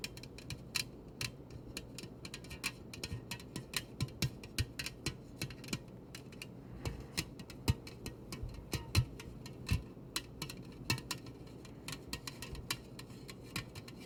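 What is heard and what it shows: A metal soda can is tapped repeatedly as an ASMR trigger, giving many quick, sharp, dry ticks that die away almost instantly. The taps come in an uneven, fast patter over a steady low hum that runs throughout.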